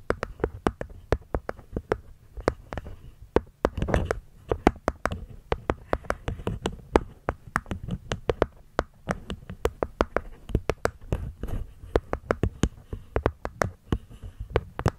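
Long nails tap the cork top panel and the wooden rim of a small, hollow, hexagonal light-wood box. The result is a steady, irregular stream of short, dry clicking taps that die away almost at once. Each tap has a soft, hollow low thump beneath a crisp attack, with a faint woody tone in the mid range.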